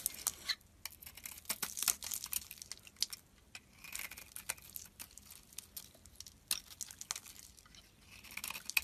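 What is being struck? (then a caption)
Bar of soap cut with a metal blade. A solid white oval bar of soap with pink remnants is held in the hand and carved with a metal blade. The clip is a steady run of crisp, bright scraping and crackling cuts, with short dry ticks and flakes breaking off and almost no low end.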